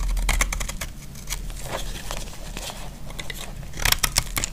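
A utility blade scrapes crunchy flakes off a solid, dry pink soap bar. The scraping comes as a fast, uneven run of crisp, bright crunches over a steady low rumble. The strokes grow louder and sharper near the end.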